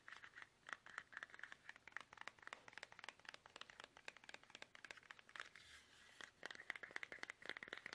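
Fingertips tap fast and aggressively on a plastic toothpaste tube, producing a dense run of sharp, light clicks with a bright, crinkly edge. Every tap stops short, and the rapid tapping never pauses across the clip.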